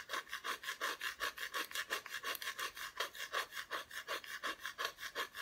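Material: Plywood.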